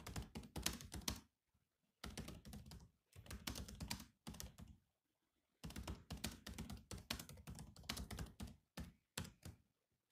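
Fingertips of both hands type quickly on the low-profile plastic chiclet keys of a grey metal-bodied laptop, giving dense bursts of short, clicky thunks with a bright edge. The typing comes in several runs separated by brief pauses.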